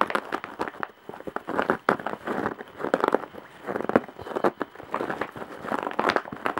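Long fingernails scratch across the coarse weave on the side of a large woven straw or jute bag. The result is a dense run of dry, crinkly scraping bursts with many quick, sharp clicks, centered in the mid range.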